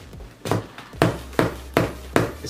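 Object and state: Bag glove with hard, firm padding.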